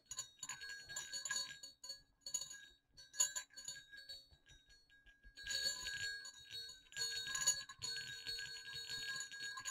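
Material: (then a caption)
Metal. Two small hollow silver metal jingle bells on a cord are shaken, producing bright, high jingling in short bursts with a steady ringing tone near 1.6 kHz. The rattling thins to soft scattered clicks midway, then returns in denser, louder shaking for the rest of the clip.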